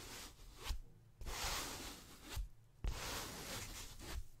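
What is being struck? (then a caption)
Polyethylene foam packaging sheet. A white ribbed polyethylene foam packaging strip is rubbed with fingertips and palms and flexed. This makes bright, breathy scraping swishes with a low rumble underneath. Two abrupt bursts start right after short quiet pauses.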